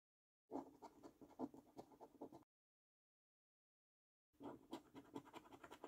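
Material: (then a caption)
Paper. A coin edge scrapes the scratch-off coating from the symbol panel of a thin, flat paper scratch card in quick, rhythmic strokes. The dry scratching sits mostly in the low-mid range around 270 Hz with faint high grit, in two bursts separated by a silent pause of nearly two seconds.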